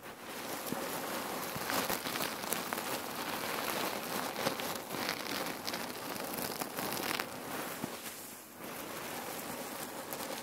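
Long nails and fingertips squeeze and scratch a long, soft, full red patterned cotton neck warmer pillow filled with cherry pits, resting on a wooden table. The shifting pits make a dense, continuous crackling and rattling that sounds like rain on a surface, with bright scratchy edges. The sound dips briefly near the end before resuming.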